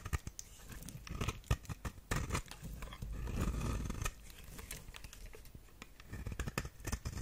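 A knife blade scrapes across the face of a solid, dry, orange square bar of soap held in the hand, shaving off flakes. Dry, crisp rasping and crinkly tearing sounds come in quick bursts with sharp little clicks, and a steadier, louder scrape runs through the middle.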